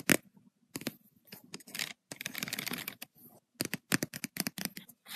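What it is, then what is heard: Spiral paper notebook. Long white and red acrylic nails tap rapidly on the paper page of an open lined notebook with black spiral binding. The taps come in quick bursts of crisp, dry clicks mixed with bright, papery rustling and scratching. Each tap stops at once with no ringing.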